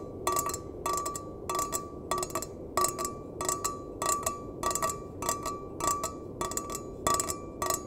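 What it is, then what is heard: Stainless steel mug. A small, empty stainless steel mug, held bottom-out, is tapped with the fingertips and nails in quick clustered bursts. Each burst gives bright metallic clicks with a short ring near 1.2 kHz over a soft background hiss.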